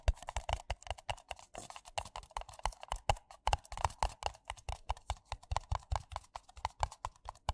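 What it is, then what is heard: Paper coffee cups tapped. Two identical empty white paper coffee cups, hollow and thin-walled, are tapped fast with fingertips and nails. The result is a rapid, uneven stream of short, dry, hollow knocks, each with a soft low thump and a papery tone near 820 Hz that dies away almost instantly.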